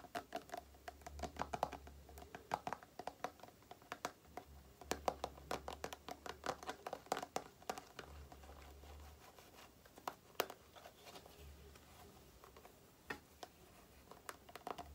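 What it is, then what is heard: Plastic cream tube. A small printed plastic Aloe cream tube is held in the hands while long nails tap and scratch its body. The result is a quiet stream of many sharp, dry clicks and light scratches, with bursts of faster tapping. A low steady hum runs underneath in places.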